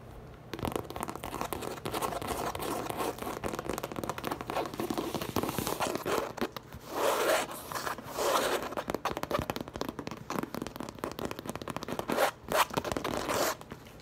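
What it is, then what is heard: Coated canvas tote bag. Long acrylic nails tap and scratch fast across the printed side of a large light-blue coated canvas tote bag with a French-themed print, which stands hollow and upright on a table. The result is a steady, dense crackle of quick taps and scratchy rasps, with louder, rougher scraping bursts near 7, 8.5 and 12.5 seconds.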